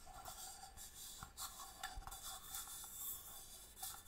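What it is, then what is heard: Inlaid wooden box. A small, hollow wooden box with a striped marquetry inlay lid is held in the hand and tapped with long nails. Quiet, quick clicky taps blend with light scratchy rubbing, giving a bright, crisp texture over a faint hollow tone near 750 Hz. Each tap dies away almost at once.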